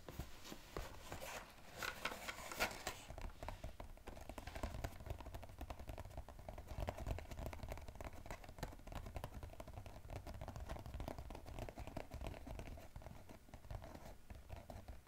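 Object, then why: Small cardboard box. Fingertips rapidly tap and scratch the top and sides of a small striped cardboard EOS gift box held in the hands; the box is hollow with items inside. A dense, continuous run of quick, muffled, hollow taps with a low thumping body is mixed with dry scratching.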